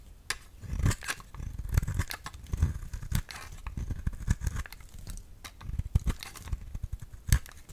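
A solid round cream bar of soap, held in the hand, is cut into thin slices with a utility knife blade. Repeated short, crisp slicing crunches and scrapes come one after another with a dull low body and brief bright edges. Each cut stops almost at once, with no ringing.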